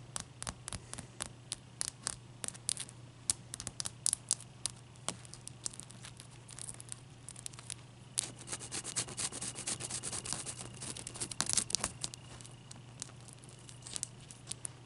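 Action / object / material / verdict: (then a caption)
scrape / large ice cube / ice / none. A single large, clear, solid ice cube, resting on a towel and held between the fingers, is tapped and scratched with long painted nails. Dozens of sharp, bright clicks and brief scratchy scrapes come in quick, irregular bursts over a steady low hum, growing busier toward the end.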